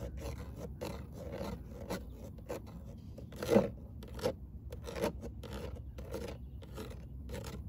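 Long nails scratch lightly across the fine-mesh perforated metal speaker grille of a car door, which is hollow behind. A steady run of soft, raspy scraping strokes carries a low, hollow undertone, with a few louder strokes standing out midway through.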